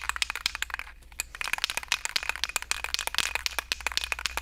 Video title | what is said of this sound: 🔴Replay: Epoxy vs Fabric Scraps - Episode 129 | it has a ball in it you can hear